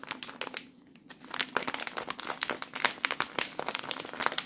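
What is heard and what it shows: Fingers squeeze and crinkle a microwave rice pouch made of plastic film, full of cooked rice. Dense bursts of bright, dry crinkling follow one another, with a brief quieter stretch near the start.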